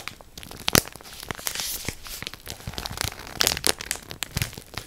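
A full orange Morato plastic bread bag, held close to the ear, is scratched and squeezed with long nails. Dense, bright crinkling and crackling runs throughout, with sharper, louder crunches near the start and again toward the end.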